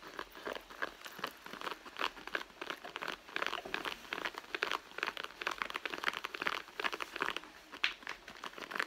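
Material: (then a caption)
Leather. Long blue nails on both hands scratch the seam area of a hollow red soft-leather handbag. The result is a steady stream of quick, dry, crinkly scrapes, bright in tone with no low end. The scrapes come in rapid bursts that rise and fall across the clip.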